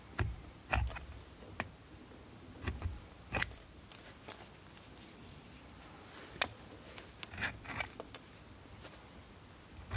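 A steel multitool knife scrapes shavings off a solid blue bar of soap held in the hand, dropping them onto a wooden board. Short, crisp, crunchy scrapes come in irregular bursts with bright edges, separated by quiet pauses. Each stroke stops dry with almost no ring.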